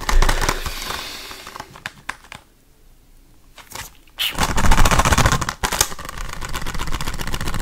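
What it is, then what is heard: Plastic disc case. A hollow blue plastic Blu-ray case is held in the hand and tapped fast and aggressively with fingertips and nails on its surface close to the microphone. Dense, rapid clicking with a heavy low thump fades into a near-quiet stretch of a few scattered taps, then bursts back into loud, continuous tapping.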